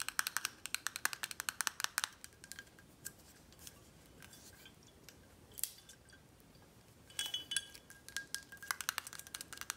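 Long nails tap on a full, red glass Corralejo tequila bottle held in hand, striking both its foil-covered neck cap and its glass body. Rapid bursts of bright, clicky taps carry a faint clinking tone around 1.5 kHz and die away almost instantly. The tapping slows to sparse, scattered hits in the middle before quickening again.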